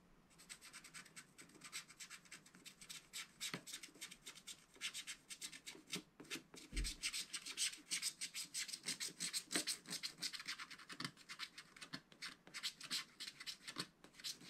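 A wooden stylus rubs quickly back and forth across the black wax coating of a small spiral-bound scratch-art paper pad on a table. It makes a dense run of dry, bright scratching strokes, with an occasional soft low knock.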